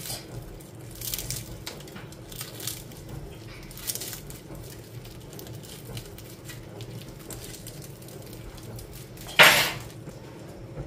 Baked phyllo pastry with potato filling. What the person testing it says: Quero que você ouça o som crocante dele agora mesmo